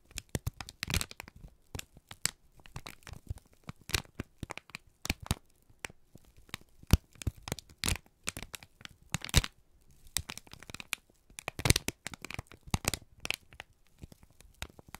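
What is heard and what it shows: A wrinkled strip of brown kraft paper is squeezed and crinkled by both hands. The result is a dense run of sharp, crackling crinkles and tearing-like rustles with brief bursts that spread from low thumps up to bright highs. The paper crumples steadily throughout in quick, irregular pulses.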